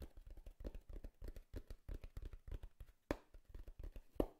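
Fingertips and nails tap and knock on the top of a hollow brown corrugated cardboard box held at the lower right. A quick, steady run of soft, dull, low thumps with almost no ring is heard. Two sharper, louder knocks stand out near the end.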